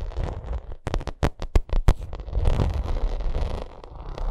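Long nails scratch and tap a bumpy vinyl makeup bag. Low, rustling scratches surround a burst of sharp, quick taps near the middle, then the scratching continues steadily.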